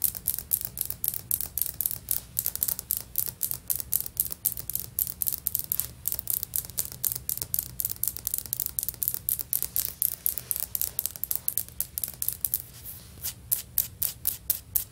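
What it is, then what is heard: Ceramic floor tile. Long fingernails tap and scratch stone-pattern ceramic floor tiles with grout on a solid floor. The result is a quiet, fast, uneven stream of sharp, bright clicks and scratchy rubbing, with a faint low hum underneath.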